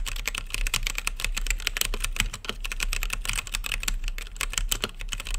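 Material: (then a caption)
Plastic. Fingertips type steadily on an RGB-lit mechanical keyboard with plastic keycaps and a clear acrylic case. The result is a rapid, continuous stream of sharp, bright, clacky keystrokes, each one short and dry.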